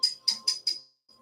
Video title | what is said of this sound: just koolin | When you tap it, it sounds, it's almost like it's plastic underneath.